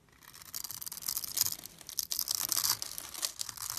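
A blade scrapes and carves small cubes off the scored top of a solid purple bar of soap held in the fingers. The result is a steady run of crisp, bright scraping and crackling with almost no low end, rising and falling in short bursts.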